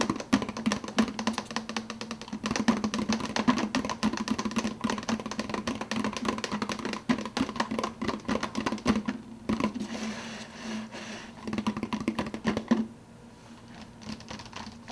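Fingertips tap rapidly on the clear plastic lid and upper wall of a hollow plastic fountain-drink cup. The result is a dense stream of quick, dry clicks with a hollow, low-pitched ring that dies away almost at once. The taps soften briefly around the middle and fade to a lighter patter near the end.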